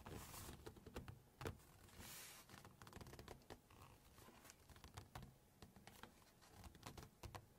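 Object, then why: Glossy paper book pages. Long fingernails tap rapidly across a glossy photo page of a large cookbook while the page is handled. The result is a quiet stream of short, crisp clicks with soft rustling swishes of the shifting paper between them.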